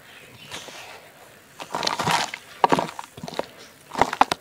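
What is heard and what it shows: Bare fingertips and palms dig into a basin piled with dry, fine red dirt and small crumbly clods, loose and solid with no water, crushing the clumps and rubbing the soil through the fingers. A soft, dry crumbling and crunching is heard in short, close bursts. The sharpest crunches come near the end, with the sound sitting mostly in the mids and fading quickly after each crush.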